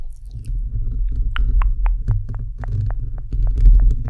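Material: Metal mesh.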